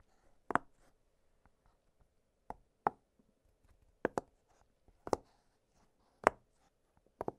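Fingertips press the hollow bubbles of an octagonal blue silicone pop-it fidget toy lying flat on a glittery surface. A series of soft, dry pops sounds at irregular intervals, some in quick pairs, each with a short mid-pitched snap and a faint bright edge. The pops are quiet, stop instantly with no ring, and are separated by near silence.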